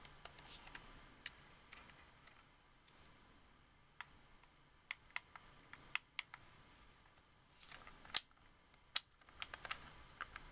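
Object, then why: Hard plastic game controller. A white hard-plastic wireless Xbox 360 controller, a hollow handheld shell, has its buttons and thumbsticks clicked and tapped with fingertips and painted nails. Quiet, bright, sharp plastic clicks and taps come at an irregular pace, with a few louder snaps and soft rustling between them. Each click dies away almost instantly.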